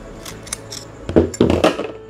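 The aluminium body of a Fugu Tora metal-body fishing reel is tapped during disassembly to check whether it is really metal rather than plastic. A few faint taps give way to three louder, short clinks with a mid-pitched ring that dies away quickly. The metallic clinking confirms the body is metal.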